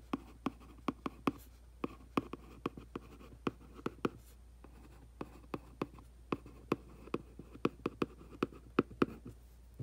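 A hand brushes over the hollow back of a printed cardboard aquarium box, then a makeup brush scratches and sweeps across the cardboard. Many short, dry, papery scrapes and ticks are heard in a quiet room, each one dying away almost at once.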